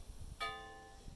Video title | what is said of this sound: How to find cast iron flaws | The rim, the cast iron gives out a very distinctive ping, almost like a bell, a church bell. It's got that real nice loud ping.